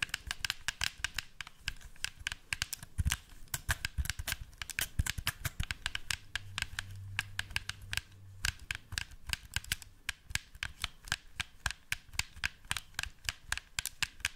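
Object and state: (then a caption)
Plastic game controller tapped. Fingertips and nails tap and scratch the back shell of a black PlayStation 4 plastic controller, a hand-sized hollow pad held underside-up near the mic. A quick, steady run of sharp, bright plastic clicks with short dry decays sits over soft scratching. A faint low hum comes in around the middle of the clip.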